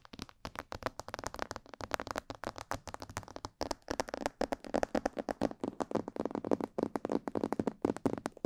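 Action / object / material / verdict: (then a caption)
tap / plastic mannequin head microphone / plastic / none. Long painted nails tap quickly on the sides, ears and cheeks of a hollow, glossy black plastic mannequin head microphone. The result is a fast, uneven stream of short, dry, clicky taps with a hollow mid-range body and almost no ring. It stays fairly quiet throughout, with the taps growing slightly denser and louder toward the end.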